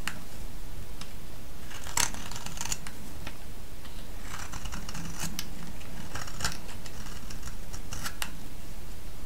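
A solid orange soap bar, held in the hand, is scraped with a metal blade, producing crisp, bright scratchy ticks and short shaving rasps at an irregular pace. The scrapes sit over a steady, low background rumble that stays at an even level throughout.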